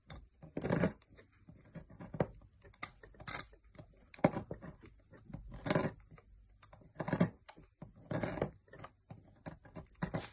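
A metal knife blade shaves flakes off a solid green opaque bar of soap held in the fingers, and the shavings pile up. Quiet, dry scraping strokes come in repeated short bursts with a soft crackle between them.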